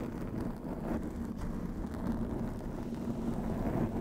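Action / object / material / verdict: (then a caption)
scrape / foam microphone windscreen / foam / none. Long acrylic nails scratch over the top and sides of a black foam windscreen on a white microphone. The result is a steady, muffled rumble and crackle that stays dark and low, with no bright edge.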